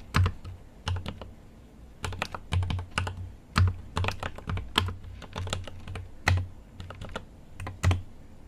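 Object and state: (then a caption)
Mechanical keyboard with plastic keycaps. A GMMK Pro mechanical keyboard with an aluminum case and plastic keycaps is typed on continuously with the fingertips. Quick bursts of sharp, bright key taps ride on a low, deep thud as each key bottoms out. Each tap dies away almost at once, with short pauses between the flurries.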